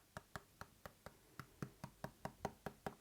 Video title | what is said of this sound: iPad 11 in 2026 — Don’t Waste Your Money | it sounds a bit more hollow, a bit more plasticky